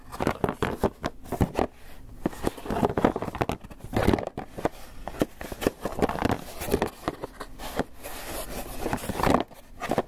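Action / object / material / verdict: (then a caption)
scrape / polystyrene foam clamshell box / polystyrene foam / none. A closed, hollow white polystyrene foam clamshell takeout box is held in one hand while fingernails scratch and tap its bottom and sides. Rapid, dry scraping, crinkly squeaks and short hollow taps come in uneven bursts, some soft and some harder. The sound is mostly low and mid-range, with almost no ring after each tap.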